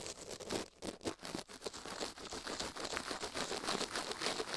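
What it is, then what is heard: Silicone ear brushed with toothbrush. A plastic toothbrush brushes fast across a silicone ear microphone in close-up, making quick, uneven scratchy strokes with a bright, crinkly hiss. The rustling is continuous and slightly pulsing, with little low end.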